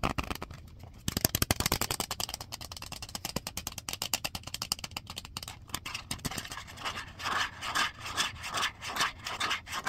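Long fingernails rub and scratch a small, thin, clear plastic DVD-R case with an orange paper insert and a disc inside, held in both hands. Dense, rapid, bright scratchy clicks fill the first part, then give way to slower, rhythmic rubbing swells toward the end.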